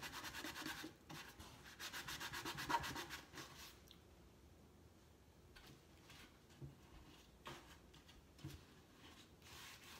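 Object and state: Wooden crate rubbed with a cloth.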